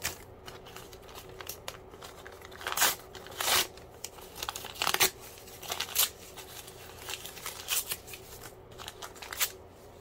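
A crumpled white paper sheet is held in both hands while the fingertips tear and crinkle it. Bright, crackly rustling runs throughout, broken by louder sharp ripping bursts, with a faint steady tone underneath.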